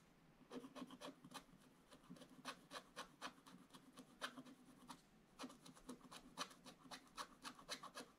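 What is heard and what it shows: A wooden stylus scratches fills into a black coated scratch-art paper page in an open book. It makes a quick, uneven run of short, dry rasping strokes with bright, crisp edges, with a pause near the middle before the strokes resume.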